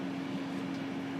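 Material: Nothing is struck.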